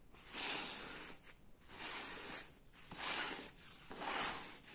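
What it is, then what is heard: Jacquard fabric curtain. Fingers scratch and rub a gold jacquard fabric curtain hanging in folds. Four separate bursts of soft, hissy, high-pitched scratching rise and fade with short quiet gaps between them.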